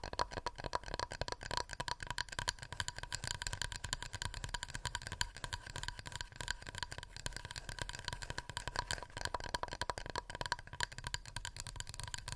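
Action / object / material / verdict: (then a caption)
tap / wooden plate / wood / none. Fingernails tap rapidly on a wooden plate, making a dense stream of short, dry clicks that die away almost instantly. A faint steady tone near 1 kHz and a low hum run underneath the tapping for the whole clip.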